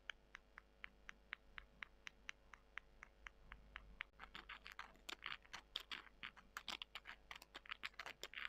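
Long nails scratch two small, dry, porous soy chunks, then the chunks are rubbed together. First comes a steady run of quiet, evenly spaced, bright clicks with almost no ring. It then gives way to denser, rougher scratching and crunching that stays high and crisp.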